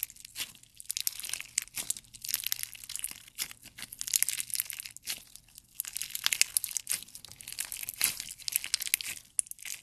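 A handful of clear slime with colored jelly cubes is squeezed and pressed between the thumb and fingers. It gives dense, bright crackling and crinkling pops with wet, crunchy bursts and short pauses, and almost no low end.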